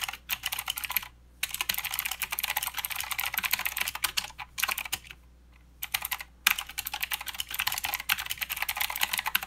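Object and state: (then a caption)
Plastic mechanical keyboard being typed on. Fingertips of both hands type continuously on a plastic mechanical keyboard with clicky blue switches and plastic keycaps. Rapid, bright, sharp clicks come in dense bursts, broken by brief pauses and a longer gap near the middle, with almost no low end.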